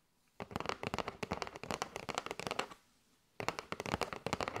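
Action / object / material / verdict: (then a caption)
tap / cardboard box filled with paper straws / cardboard / none. Long nails tap and scratch a kraft cardboard box with a window, full of paper straws, making quick, dry, crackly taps with no ring. A burst of rapid tapping runs for about two seconds, stops briefly into near silence, then starts again.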